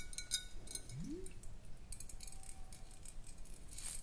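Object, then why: Glass swing-top bottle. Long acrylic nails tap and scratch the side of a large clear glass swing-top bottle with a metal cap, held sideways and appearing to contain some liquid. Quiet, bright glassy ticks and scrapes come at an uneven pace over a steady low background hum, with a brief rising low tone near the start.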